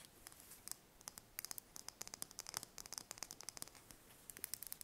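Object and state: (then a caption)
Brown chicken egg tapped and scratched with nails. Long red nails tap and scratch a single thin-shelled brown chicken egg held in the hands. Quiet, bright, sharp clicks arrive in quick irregular bursts over a soft scratchy hiss. Each tap dies away instantly, with almost no low end.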